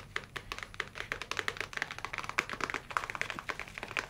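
A dark leather folio tablet case is held in both hands and tapped rapidly with the fingernails, making a quick, typing-like clatter of short, dry clicks with a bright edge. The taps follow one another closely and unevenly, with almost no ring after each one.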